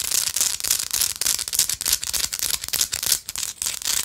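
A small solid pink rock-salt chunk, held close, is scratched and tapped with long light-blue acrylic nails. The result is a fast, uneven stream of dry, bright scratches and crisp clicks with almost no low end and very short decay.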